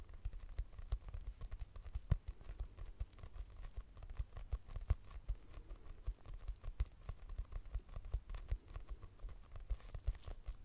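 A purple notebook with a cardboard cover, a solid paper block held upright, is tapped quickly with long nails. It gives a steady run of soft, dull, low taps with dry clicks that stop at once, with no ring.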